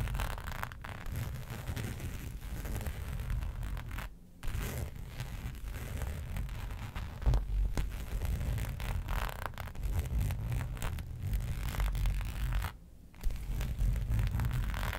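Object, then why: Embossed faux leather sheet. Long pointed nails scratch the raised pattern of a flat black embossed faux leather sheet resting on a fur rug. The result is a continuous, irregular rasping scrape with a heavy low rumble, broken by two brief near-silent pauses around 4 and 13 seconds.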